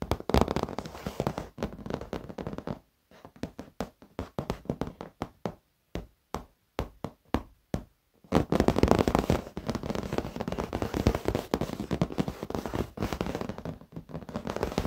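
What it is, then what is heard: Leather office chair. Fingertips and short nails tap and lightly scratch the padded edge of a black leather office chair. Soft, dull low taps come in quick irregular runs with brief silent gaps through the middle. After about eight seconds they give way to denser, continuous rubbing and scratching with little brightness.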